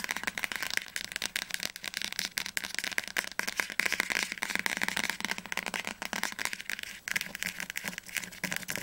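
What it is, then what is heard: Hardcover book spine tapped with nails. Long nails tap fast on the spine of an orange Hunger Games hardcover book held upright. The result is a dense, continuous stream of dry, bright clicks with almost no low end and no ring after each tap.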